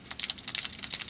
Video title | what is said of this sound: How to Ink Gamescience® Dice | you hear the ball bearing in there that stirs up the paint